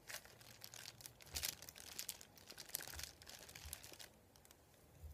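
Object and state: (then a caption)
Paper sheet crinkled. A thin, white, folded printed paper sheet lies flat on a wooden table while fingertips and a palm rub and crinkle it. The sound is soft, bright crackling and rustling in dense bursts, with a few faint low thumps. It grows quieter toward the end before a final crinkle.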